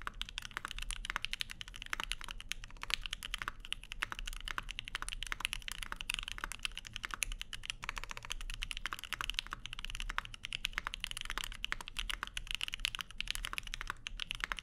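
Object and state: Mechanical keyboard with aluminium plate and plastic keycaps.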